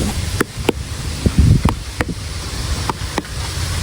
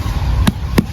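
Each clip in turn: First: unripe jackfruit. Second: ripe jackfruit.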